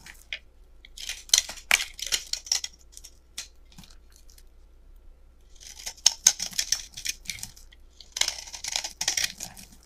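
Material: Soap.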